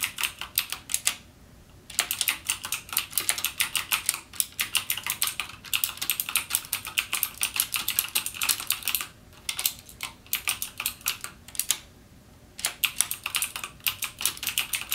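Fingertips type rapidly and continuously on a full-size backlit mechanical gaming keyboard with plastic keycaps and clicky Cherry MX Blue switches. The result is a dense stream of sharp, bright clicks with almost no low end, broken by short pauses near 1, 9, 10 and 12 seconds.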